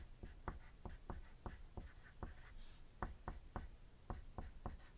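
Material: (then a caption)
Paper. A wooden graphite pencil writes on a thin white paper sheet resting on a desk, making dense scratching strokes. About twelve short, sharp pencil taps and strokes stand out above a quiet, low-heavy scratching bed, each dying away almost at once.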